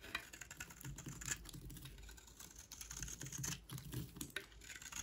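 A utility knife blade shaves a solid, dry white rectangular bar of soap held in the hand into dry curls. The result is a rapid run of crisp, bright scraping and crackling ticks over a soft low rumble, each one very short and dry.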